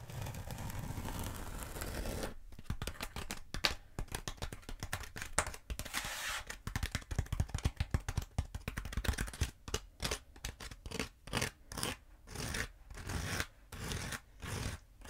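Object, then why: Bead foam roller. Long nails scratch and tap a long black bead foam roller held horizontally. A steady, dry scraping rub opens, giving way to quick, crackly scratches and light taps. The clip ends in a rhythmic series of separate scratching strokes, each a short, bright, gritty burst over a low rumble.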